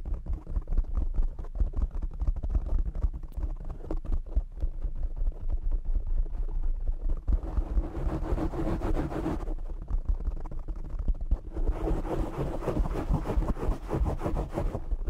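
Short fingernails of both hands scratch and tap a black foam windscreen on a desktop microphone. The result is a dense, muffled stream of deep thumps and rustling scrapes, with brighter scratching bursts around 7.5–9.5 s and again from about 11.5 s to the end.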